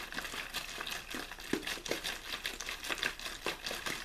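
An empty, clear plastic water bottle with a blue label, hollow and partly crumpled, is squeezed and crinkled in one hand. It gives a steady run of quick, dry, bright crackles and pops with almost no low end, each snap dying away at once.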